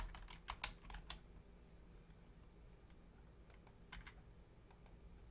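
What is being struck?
Plastic computer keyboard.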